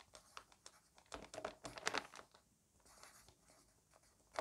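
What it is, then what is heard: Pencil writing on a paper notebook page. A green wooden pencil writes a list of words on an open lined paper notebook page, its graphite tip scratching the paper. Quiet, dry, bright scratchy strokes come in short irregular bursts with brief pauses between words, and the sound stops almost instantly with no ring.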